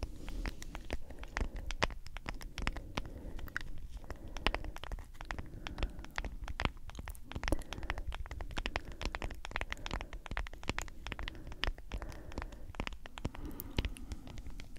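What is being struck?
Plastic powder tub.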